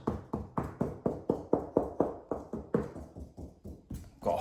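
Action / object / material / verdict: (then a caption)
knock / plastered wall / plaster / hollow. A wall-plaster surface is knocked across in a steady run of about 14 short, dull knocks, each with a brief hollow tone near 460 Hz that dies away almost at once. The knocks sound hollow across the area, revealing a whole section of blown plaster that has to be salvaged.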